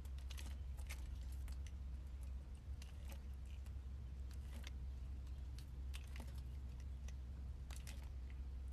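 A metal blade slices strips and cubes from a solid purple oval soap bar held in the hand. Crisp, bright cutting clicks and scrapes come at an irregular pace over a steady low hum.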